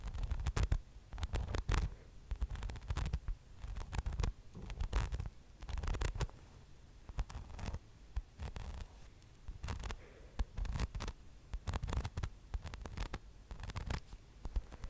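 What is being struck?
Soft polyurethane foam donut-shaped toy.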